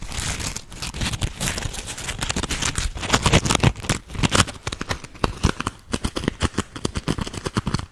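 A round grey polymer foam Scrub Daddy smiley sponge is held in the hands and scratched and squeezed with long acrylic nails. Dense crinkling and scratching runs throughout, with a steady low rumble under the texture. Near the end it breaks into quicker, separate sharp scrapes.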